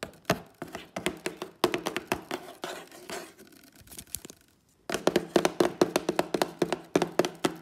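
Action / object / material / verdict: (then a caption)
tap / printed cardboard box / cardboard / none. Fingertips and long fake nails tap on the top of a hollow, white printed cardboard Instax camera box. They make quick, dry, hollow knocks with short clicky nail edges, in irregular bursts. The tapping goes quiet for a brief moment, then returns in a denser, louder run.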